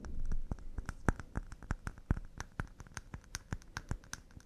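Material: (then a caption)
Pine wood. Wooden cups made of pine are tapped fast and delicately. A quick run of short, dry taps is heard, each a soft low knock with a light bright click that dies away almost at once. A brief rubbing sound opens the clip.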